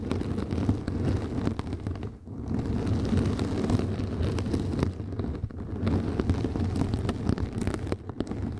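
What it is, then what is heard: Mesh scrub sponge. Fingertips and long nails scratch and rub the surface of a round yellow synthetic mesh sponge resting on the microphone. The result is a dense, continuous scratchy rustle with a heavy low-end rumble and many quick crackling grains, dipping briefly at about 2.2 and 8 seconds.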